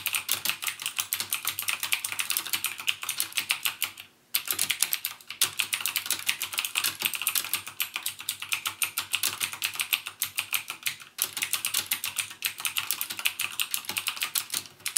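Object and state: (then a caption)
Plastic mechanical keyboard. Fingertips type rapidly on a backlit mechanical keyboard with plastic keycaps and Cherry MX Blue switches. The dense stream of sharp, bright clicks has almost no low end, with brief pauses near 4 and 11 seconds.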